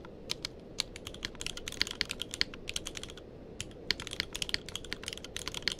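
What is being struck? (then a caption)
Mechanical keyboard with plastic keycaps. Fingertips of both hands type continuously on a tenkeyless mechanical keyboard with plastic keycaps. Quick, bright clicky keystrokes sound in an uneven rhythm, each dying away almost instantly, over a soft low hiss. A brief pause falls midway before the typing resumes.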